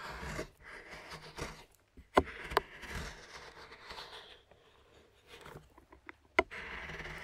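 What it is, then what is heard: Milk chocolate bar being scraped. A large knife scrapes shavings off a flat solid milk chocolate bar on a wooden board while fingers hold it. Soft, breathy scraping comes in short strokes, broken by a few sharp, bright ticks as the blade catches the chocolate.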